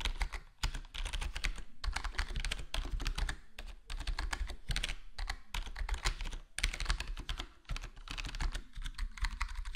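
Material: Plastic.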